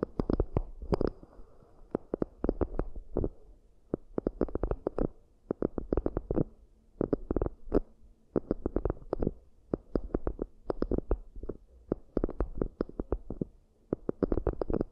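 Long nails tap and scratch the inner base and rims of two identical round, hollow, empty cork coaster bowls, with hands cupped over them. Dense bursts of soft, muffled, low tapping come in clusters separated by brief pauses, with faint scratchy texture and a hollow, dull tone.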